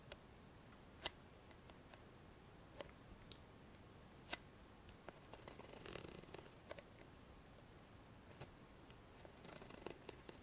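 A small white plastic cosmetic cream tube is held at an angle, and long fingernails scratch and tap along its body. Sharp, bright clicks stand out over a soft, steady hiss. Around the middle and near the end, rougher scratching passages rise slightly in level.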